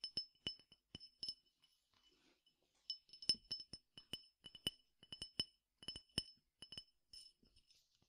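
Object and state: Glass tumbler with peppercorns.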